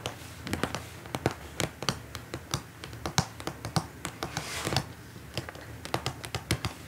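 Long nails tap quickly and irregularly on a flat, transparent plastic pouch holding printed paper leaflets, lying on a table. Each tap is a short, dry, bright click that dies away almost instantly, with a faint crinkle between taps over a low background hum.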